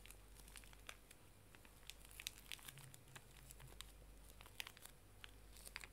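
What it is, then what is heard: Plastic-wrapped pocket tissue pack. A small, full, pink plastic-film pocket tissue pack is crinkled and squeezed with fingers and nails while turned upright. Quick, bright crackles and sharp crinkly snaps come in an irregular stream over a low, steady hum.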